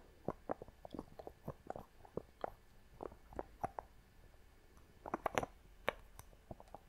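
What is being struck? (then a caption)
Wooden lid on a small glass box. Long fingernails tap and scratch the top of the wooden lid on a small clear glass box held close to the microphone. The taps are short, dry and clicky, with a mid-range knock and almost no ring. They come in an irregular run, with quieter scratchy rustling between them and a denser cluster of taps near the end.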